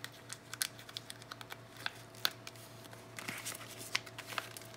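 A small green and white Dettol cardboard soap box, hollow with a bar of soap inside, is held in both hands with long nails and turned and rubbed. It makes a light, bright shuffling and crinkling sound with quick, sharp little ticks and taps over a faint steady low hum.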